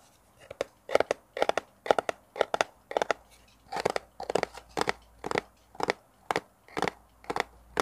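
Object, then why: Small cardboard box. A small, hollow, brown kraft cardboard box is held close to a mini mic and scratched and tapped with fingernails. Quick clusters of dry, papery scratching and tapping bursts repeat steadily, centered in the midrange around 600 Hz with almost no low end. Each burst cuts off sharply into near silence.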